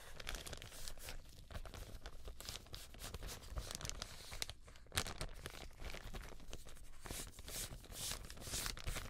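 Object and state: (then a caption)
Thin plastic bag being crinkled and torn. Gloved hands crinkle and pull a thin, empty, white translucent plastic bag until the film tears. Dense, continuous crackling and crinkling fill the clip, with sharp bright bursts as the plastic stretches and rips over a low rumble.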